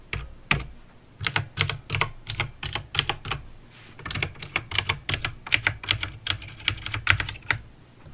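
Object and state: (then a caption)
Plastic mechanical keyboard. Fingertips type on a backlit mechanical keyboard with plastic keycaps and clicky green switches. Bright, sharp clicks come in an uneven typing rhythm, each with a soft low thud beneath it. Every keystroke dies away almost instantly.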